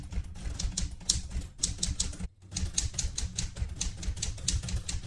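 Fingertips with red painted nails type continuously on the round keys of a vintage light blue portable manual typewriter with a metal body. Quick, bright key clacks ride over low thumps from the body, with a brief pause just after the two-second mark before the rapid typing resumes.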